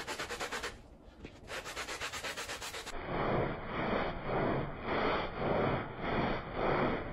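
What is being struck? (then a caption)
Woven fabric rug. A small, patterned woven fabric rug with fringes lies flat on a soapy floor, wet and covered in foam, while a handheld plastic bristle brush scrubs it back and forth. Quick, rapid scrubbing strokes with a brief pause give way to about seven slower, broader swishes. Each stroke makes a wet, frothy rasp with a bright hiss.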